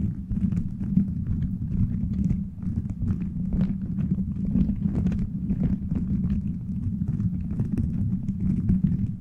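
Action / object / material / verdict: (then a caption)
scrape / plastic beads strung over a microphone head / plastic / none. Fingertips and nails scratch and tap a cover of colorful translucent plastic gummy-bear beads strung over a metal microphone head. The sound is a dense, steady stream of close rustling and clicking, heavy and muffled in the low range around 200 Hz, with quick dry ticks flicking up into brighter tones. The clicks die away almost instantly.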